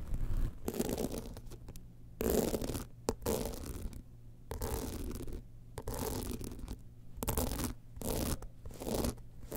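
Long nails scratch across the studded panel and metal frame edge of a small gold rhinestone-covered evening clutch bag held in both hands. Bursts of gritty, rasping scratches alternate with short quiet gaps, over a low, rumbling undertone.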